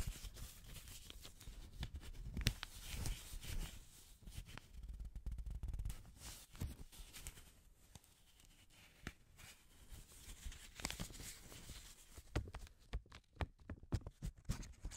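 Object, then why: Paper banknote. Black-gloved hands crinkle and rub a partly folded yellow paper banknote close to the microphone. Soft, dry rustling and crackling come in uneven bursts, quieten for a few seconds in the middle, then return as sharper, brighter snaps near the end.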